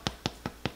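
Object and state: Hollow-sounding baked bread loaf.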